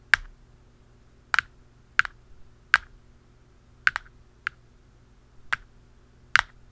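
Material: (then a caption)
Plastic. A blue plastic pen and a dark pen tap the black plastic lid of a hollow round canister, making short, sharp clicks centered near 1.6 kHz with bright tops. The taps land in a slow, uneven series, some in quick pairs, and each dies away almost at once, leaving a quiet low hum between them.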